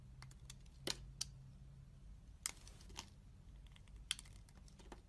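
A metal utility-knife blade shaves thin slices off a solid, oval, hand-sized translucent green soap bar held in one hand, with 8D-processed audio. Short, crisp, bright scraping clicks come at irregular intervals over a faint, steady low hum, each cut ending almost instantly.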